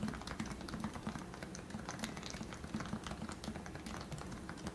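Fingertips type steadily on a compact white plastic Leopold FC660C Topre electrostatic capacitive keyboard with lubed 45 g switches. The result is a continuous run of soft, muted keystrokes with a rounded low thock around 220 Hz and little bright click.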